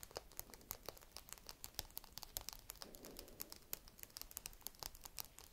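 A single small whole walnut with a hard, woody shell is held in both hands and scratched with long red nails. The result is a rapid, uneven run of sharp, bright clicks and scratchy crackles with almost no ring. A soft, low rustle swells briefly near the middle.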